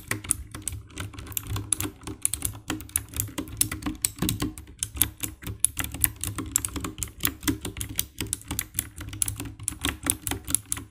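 Long-nailed fingertips type steadily on the keycaps of a compact 60% black plastic mechanical keyboard with RGB backlight. The result is a rapid, continuous stream of short, dry tapping key presses, each with a bright click over a soft low thump and almost no ring.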